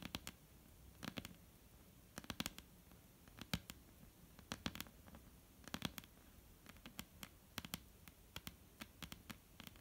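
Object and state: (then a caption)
Wooden table tapped with nails. Long painted nail tips tap a flat, solid, dark-brown wooden tabletop. Quiet, irregular clusters of sharp, clicky taps are heard, each with a bright top and a short, dry decay with a soft low thump beneath.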